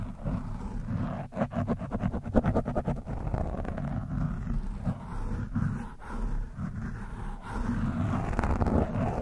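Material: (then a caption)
Foam. A screwdriver tip scratches an orange foam windscreen on a microphone, producing a dense, low, rumbling scrape close to the mic. Bursts of rapid crackling ticks cluster in the first few seconds, then the scratching settles into steadier, muffled rubbing with occasional sharper clicks.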